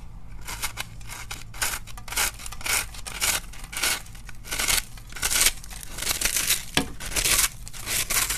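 A metal knife blade, guided by a hand with dark-painted nails, scrapes and carves into a large, solid, pink-and-white block of dry, crumbly starch soap, shedding crunchy flakes onto a dark surface. Repeated bright, gritty scraping strokes crackle and crunch over a faint low hum, with brief pauses between strokes.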